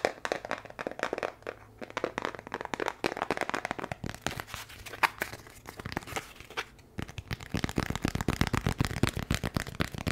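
A small brown kraft cardboard box is held in the hands and moved around the microphone while fingertips tap and scratch across it. Quick, dry, papery taps and crinkly scratches come in a dense, uneven stream, growing softer through the middle and then turning louder and punchier near the end.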